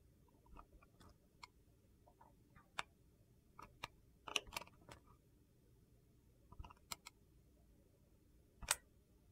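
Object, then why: Translucent glycerin soap bar. A utility knife blade slices strips off a thin remaining piece of translucent blue-green glycerin soap while it is carved. Short, bright, crunchy clicks and scrapes come at irregular intervals over a quiet background. A louder cluster falls near the middle and a final sharp crunch comes near the end.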